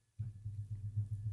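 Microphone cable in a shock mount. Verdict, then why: Isolated. A microphone cable is tapped, with the same pressure as before, on the far side of the shock mount's cable hook on a boom stand. Only a series of faint, low, dull thumps around 100 Hz reaches the microphone. The hook isolates the cable vibration, so the taps come through much quieter.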